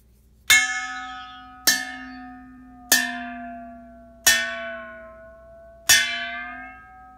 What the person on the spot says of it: Tapping the metallic mixing bowl by a metallic object (stainless-steel spoon) generates a resonant sound. Varying the angle of the metallic bowl by pulling a fishing line attached to the edge of the mixing bowl continuously varies the tone between low pitch and high pitch.